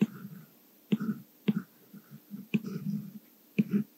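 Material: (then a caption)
Glass. The plastic tip of a white Apple Pencil, held in the hand, writes Korean text on the glass touchscreen of an iPad Mini, possibly covered by a screen protector. Soft, dull taps as the nib lands are followed by light, low scratching strokes, separated by brief silences.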